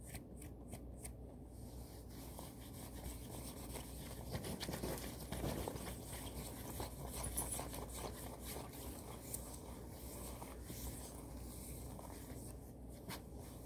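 Long nails scratch across a worn blue floral satin kimono robe, and both hands grab and rub the fabric. The result is a quiet, steady, uneven rustle of scratchy, swishing friction with a low rumble underneath and faint bright edges.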